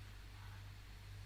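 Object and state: Nothing is struck.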